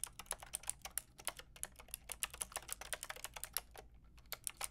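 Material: Plastic.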